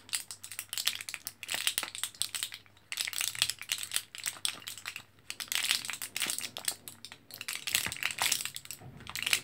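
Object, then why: Plastic and foil blister pack of capsules. Fingertips press and crinkle an orange, foil-backed plastic blister card of capsules held in both hands. Dense, bright crinkling and rapid sharp clicks come in bursts separated by brief quiet gaps, over a faint low hum.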